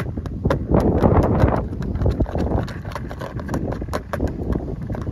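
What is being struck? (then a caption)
Clear plastic lure organizer box. Fingertips tap rapidly and unevenly on the lid of a hollow, clear plastic lure organizer box, a compartment tray holding several fishing lures. The taps sound hollow and clicky with a low, thumping body and fade quickly, overlapping into a steady, clip-clop-like patter.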